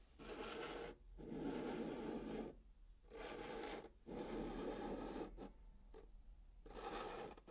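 A hand draws a pink chalk zigzag between white lines on the surface of a hollow brown cardboard box, making quick back-and-forth strokes. The result is five bursts of dry, rasping scratches with a hollow low-mid body, separated by brief pauses.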